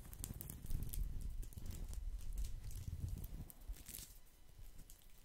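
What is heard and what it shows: A round woven straw placemat is held close to the microphone and scratched and tapped with fingertips across its braided surface. The result is a dense, irregular crackle with a heavy low rumble under bright, dry ticks. It is fuller for the first few seconds, then thins and quiets toward the end.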